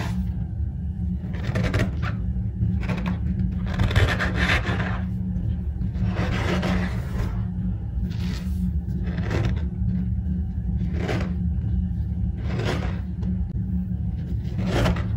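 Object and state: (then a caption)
Dry cornstarch powder being pressed. Both bare hands, fingers spread, press and rub down into loose, dry cornstarch powder in a large rectangular glass baking dish. Each press gives a short, squeaky, crunchy compression. The compressions repeat throughout, over a steady low hum.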